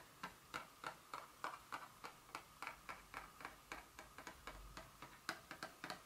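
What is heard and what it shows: Two very long fingernail tips tap a small printed Dior fragrance box, a hollow cardboard perfume box lying flat. About 22 quick, light, dry ticks follow at an uneven pace, each a short bright click with a hollow midrange tone that dies away almost instantly over a faint background hum.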